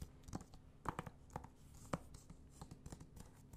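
Fingernails scratch and tap the cover of a blue PS4 game case for Titanfall 2, a thin, hollow plastic case held in the hand. Quiet, dry clicks and scratchy rustling come in uneven bursts, with a few sharper taps that stop almost instantly.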